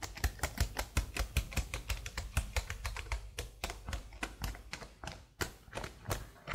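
Long blue-nailed fingertips type on the letter keys and then the number pad of a black plastic laptop keyboard. About 31 short, crisp key taps land in an uneven rhythm, each with a dull low thump and a bright click that dies away almost instantly.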